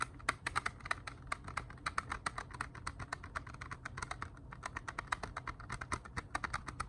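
Plastic CD cases are tapped in a steady, continuous series of short, crisp clicks. Each tap is dry and stops at once, with a bright, clicky edge over a mid-pitched body around 1.3 kHz. A faint low hum sits underneath.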